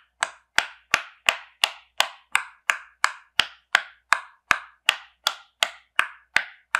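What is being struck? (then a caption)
Silicone pop-it fidget toy. A fingertip with a painted nail presses the hollow bubble domes of a rainbow popsicle-shaped silicone pop-it fidget toy, lying flat on a white surface, one by one. Nineteen short, crisp pops come at a steady pace of about three per second. Each is bright and woody with a midrange snap and dies away almost instantly.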